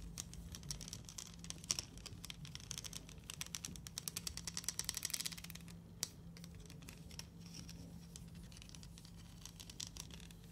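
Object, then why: Plastic coil spring toy. A plastic rainbow slinky, a hollow plastic coil spring toy, has its coils stretched, rubbed and clicked together close-up by fingers with long nails. Dense bright clicks and crinkly scratching rise in a busier burst around the middle, with one sharp snap near six seconds, over a steady low hum.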